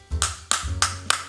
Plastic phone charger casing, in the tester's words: ketika kita ketuk suaranya akan rapet ya dan Ia memang ini kualitasnya si plastik keras ya Jadi kita ketuk itu kok nggak kopong